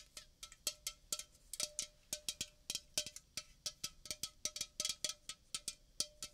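A red Coca-Cola aluminium can, about 330 ml, hollow and apparently unopened and full, is held in the hand near the microphone and tapped and scratched with painted fingernails. Around 29 quick, bright clicking taps are heard in an uneven rhythm, each dying away almost at once, with a faint metallic ring near 600 Hz and 1.3 kHz.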